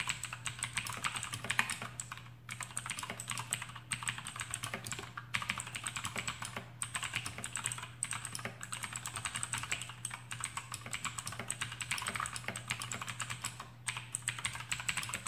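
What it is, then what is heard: Mechanical keyboard with clicky switches. Both hands type rapidly on a full-size black plastic AUKEY KM-G6 mechanical keyboard with RGB backlight and clicky Outemu blue switches, resting on a desk mat. A dense, continuous stream of sharp, bright clicks with very short decay is heard, with brief pauses between bursts and a faint steady low hum underneath.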